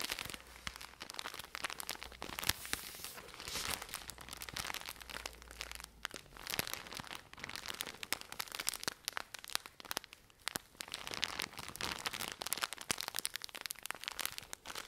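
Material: Plastic film.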